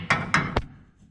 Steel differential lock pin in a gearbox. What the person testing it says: tap again, and then you notice a change in tone